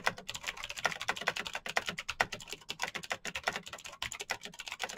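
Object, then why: Plastic mechanical keyboard, clicky switches. Fingertips of both hands type fast on a black, backlit Razer BlackWidow mechanical keyboard with plastic keycaps on clicky green switches. A rapid, steady stream of sharp, bright clicks with a tone near 2 kHz follows, each keystroke dying away almost instantly with very little low end.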